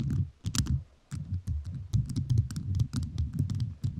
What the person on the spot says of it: 0:42 - Tapping On Rhinestone Mic